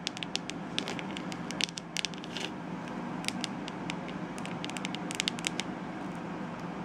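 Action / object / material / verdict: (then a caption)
tap / plastic hairbrush back / plastic / none. Long nails tap and scratch the curved back of a glittery, hollow plastic detangling hairbrush shell held close. Sharp, bright clicks and short scratchy crackles come in irregular bursts over a steady low hiss.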